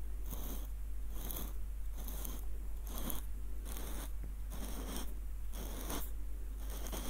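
Fingertips twist and trace the threads of a small light-wood screw nutcracker with a hollow bowl and threaded wooden screw. It makes a steady run of ratcheting, scraping bursts with bright high edges over a constant low hum.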